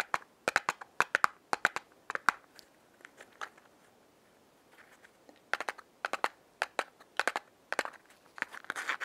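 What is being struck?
Small cardboard matchbox tapped with fingernails.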